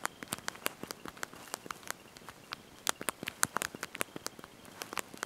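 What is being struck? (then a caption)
Plastic phone keyboard keys. Thumbs and fingertips press and tap the small backlit plastic keys of a handheld slide-out mobile phone's QWERTY keyboard while typing a message. About 24 quick, dry, bright clicks land in an uneven rhythm over a quiet background, each one dying away almost instantly with next to no low end.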